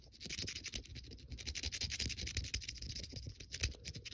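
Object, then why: Small metal coin scratched with a fingernail. A fingernail scratches rapidly across the face and edge of a single small, solid, silver-coloured metal coin held in the fingers above a fleece blanket. The sound is a dense run of quick, bright scratching strokes with soft low thumps beneath, each stroke dying away almost at once.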